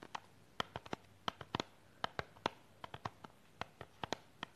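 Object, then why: Small hollow plastic box wrapped in cellophane. Long pink nails tap and scratch a small, hollow, clear plastic false eyelash box still in its cellophane wrap while it is held in both hands. About 22 sharp, dry, quiet clicks sound in an uneven rhythm, each dying away almost instantly. They have a mid-pitched plasticky tone around 900 Hz with a light, bright crinkle over soft background hiss.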